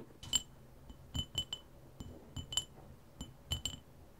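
Fingertips and nails tap and scratch around the outside of a tall clear glass jar packed full of colorful water beads, standing on a glittery surface. About ten light, separate taps each give a short, bright glassy clink with a faint low thump underneath. The clinks die away almost at once between quiet pauses.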